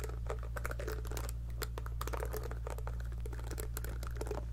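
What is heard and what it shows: Long nails repeatedly pluck the silicone bristles of a small pink heart-shaped scalp massager brush held near the microphone. The plucks come as quick, soft, irregular ticks and snaps with bright edges, spread evenly over a steady low hum.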